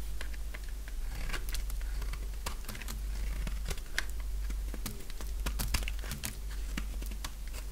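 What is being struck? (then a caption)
Bar of soap shaved with a blade. A purple bar of dry soap, held in both hands, is shaved with a utility knife blade into curls and flakes. Dense, irregular crisp scraping and crackling cuts come quickly over a steady low hum.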